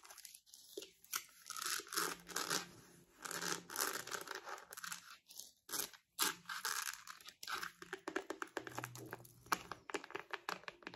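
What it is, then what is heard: Faux leather wallet. Long acrylic nails tap and scratch across a small, solid pink glossy faux-leather (patent) crocodile-embossed wallet with a metal logo. The result is a quiet, bright, crinkly scratching broken by rapid dry clicking taps and brief pauses, with almost no low end and no ring after each contact.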